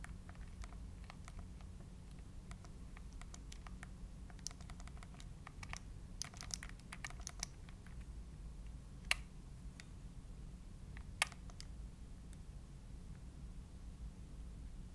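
Thumbs press and click the plastic buttons of a gray plastic Nintendo Switch handheld game console held in both hands. Quick, dry, bright clicks come in irregular bursts, densest in the middle, with a couple of sharper, louder clicks later. All of this sits over a steady low hum.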